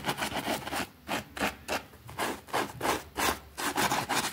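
A white plastic hand brush scrubs a small, thin green fabric rug with a rabbit print, wet and foamy, lying on a concrete floor. Quick back-and-forth strokes make a rapid series of bright, wet, hissing rasps with short gaps between them.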